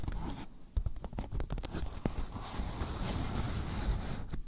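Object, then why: Beeswax-coated cotton food wrap. A thin, patterned beeswax-coated cotton food wrap is stretched over a microphone while fingertips and nails scratch and crinkle its waxy surface. The result is close, muffled scratching and crackly crinkling with short sharp ticks, heavy in low rumble and with little high-end brightness.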